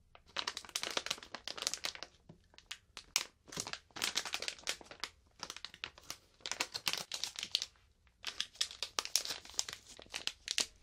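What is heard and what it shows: A medium printed plastic snack bag full of marshmallows is gripped at the top and crinkled and rubbed with fingertips and long painted nails. Dense, bright crinkling comes in quick bursts with short gaps, including a clear pause around eight seconds. Each crackle dies away almost instantly, with nearly nothing in the low end.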